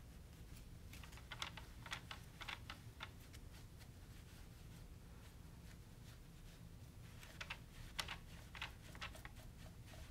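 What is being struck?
Plastic wall thermostat with push buttons.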